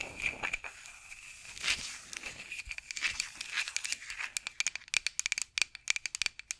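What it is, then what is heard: Wooden rolling pin. A solid, light wooden rolling pin with handles, held over a microphone, is scratched with long acrylic nails. A dry, high scratching and tapping begins as a soft, continuous rasp, then becomes a quicker run of sharp, bright clicks. There is almost no low end, and each tick dies out at once.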